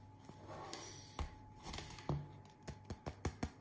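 A homemade bread loaf, just out of the oven and golden and crispy, is struck on its crust, making a series of short, dull taps and knocks with a crisp, bright edge. The hits start sparse, then come quicker and sharper toward the end. The hollow, crusty sound shows the loaf is well baked.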